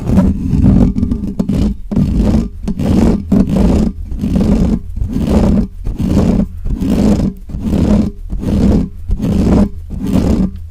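Fingertips and nails scratch fast on both sides of the hollow, bare metal mesh grille of a large black microphone. The result is a steady run of rough, booming, roar-like scratching bursts, dark and heavy in the low end with a buzzy tone near 200 Hz, pulsing at a loose rhythm a little faster than once per second.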